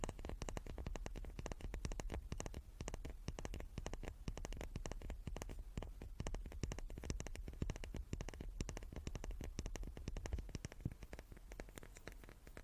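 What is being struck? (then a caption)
Small wooden cube. A small wooden cube is tapped repeatedly with rapid, quiet taps. Each tap is a short, dull knock that fades almost at once, with most of its weight in the low end. The taps run in a steady, dense patter throughout.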